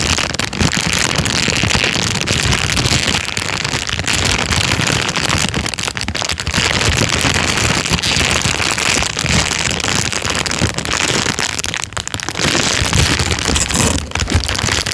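A thin, empty, clear plastic bag is scrunched and rubbed between the fingers for the full fifteen seconds. It makes a dense, continuous crinkling and rustling that is bright and crackly, with some low rumble underneath. The level stays steady and fairly loud, dipping only briefly a few times as the handling pauses.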